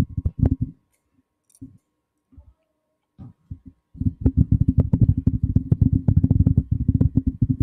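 Fingertips of both hands tap and rub the black, hollow, cylindrical metal body of a condenser microphone. Short, dull, low-pitched thumps come in sparse bursts with quiet gaps, then turn into a steady run of rapid tapping from about four seconds on.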